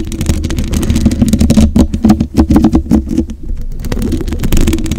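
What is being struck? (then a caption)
Metal mesh microphone grille. Long white acrylic nails scratch and tap the black metal mesh of a hollow microphone head. The result is a close, boomy low rumble broken by quick, dry scratching and tapping clicks in an uneven rhythm, with only a faint bright edge.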